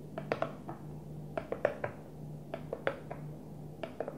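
A Tupperware plastic food container is gently tapped, producing soft, hollow plastic knocks in loose clusters of two or three with a mid-range tone near 590 Hz. Each tap dies away almost at once over a steady low hum, with no voice heard.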